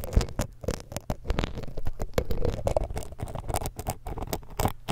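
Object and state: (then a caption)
Metal microphone mesh grille scraped. The hooked tip of a thin metal dental pick scrapes across the metal mesh capsule grilles of a small hollow X-Y stereo microphone. It makes a dense run of quick, dry scratches and ticks with a heavy, muffled low-end thump. Each contact cuts off almost instantly.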